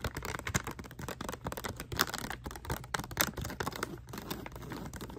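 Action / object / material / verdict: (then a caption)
tap / plastic foil bath bomb packet / plastic foil / none. Long manicured nails tap and scratch a small printed plastic/foil bag holding a bath bomb, held in both hands. Dense, rapid crinkling and sharp clicky taps run continuously, with brief bright crackles and short scraping strokes. No hit rings out.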